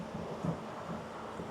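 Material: Nothing is struck.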